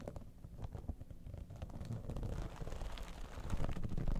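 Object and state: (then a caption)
Holographic vinyl cosmetic bag. Long nails scratch the top surface and front seam of an iridescent, dimpled holographic vinyl cosmetic bag. The result is a quiet, irregular stream of rapid, low, muffled scratching and rustling that grows slightly louder toward the end.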